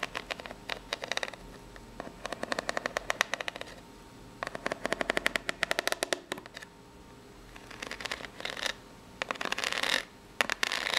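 Long pink natural nails of both hands scratch the ribs of a small, hollow brown corrugated cardboard box held up in the air. The sound is a series of bursts of rapid, dry, bright scratching clicks, with short quiet pauses between them. Each click dies away almost instantly.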